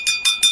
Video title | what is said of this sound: Pachala someshwara Temple-- మ్యూజియంలో ఆదిమానవుల వస్తువులు కుండలో శవాలు--ఛత్రపతి శివాజీ ఖడ్గం--2024 | మనకు స్టీల్ మీద కొడితే ఎలాంటి సౌండ్ వస్తుందో చూడొచ్చు. ఎంత మంచి సౌండ్ వినబడుతుందంటే